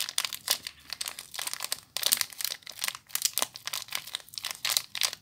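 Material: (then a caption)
Plastic film. Fingers with long nails crinkle and squeeze the clear plastic wrapper, with crimped ends, around a small bar of soap. The result is a steady run of sharp, bright crinkling and crackling bursts that sit almost entirely in the high range, with no low end. Each crackle cuts off almost instantly.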